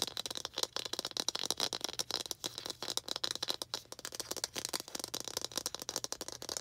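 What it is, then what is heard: Plastic toy ball. A small hollow red plastic ball with baseball-style stitching is held in both hands and tapped and scratched with long green acrylic nails. The result is a fast, dense stream of short, dry clicks and scratchy rattling, bright and high with almost no low end. Each tap dies away almost instantly.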